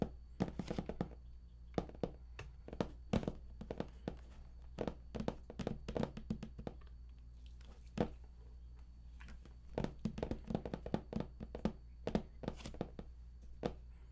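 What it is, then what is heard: Cardboard game box, hollow. Fingertips tap on the lid surface and raised panel edge of a large, hollow, printed cardboard collector's edition game box. Many quick, dull thunks come in irregular bursts over a steady low hum, each dying away almost instantly, with a faint high whine held underneath.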